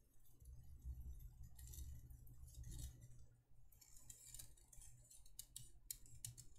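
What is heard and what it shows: Long nails tap and scratch the embossed surface of a small, empty, hollow cylindrical candle holder made of thin embossed copper-toned metal, held in the hands. Bright, short ticking clicks and scratchy sweeps sound over a steady low rumble, with sharper separate taps toward the end.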